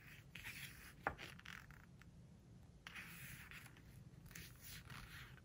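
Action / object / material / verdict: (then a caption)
scrape / glossy paper book pages / paper / none. A page of a large, open hardcover book with glossy paper pages is turned, and then a flat palm and fingertips rub and squeeze the glossy spread. A soft, crisp rustle leads into one sharp papery snap of the turning page, followed by swelling waves of smooth, bright friction as the hand slides and presses across the slick paper.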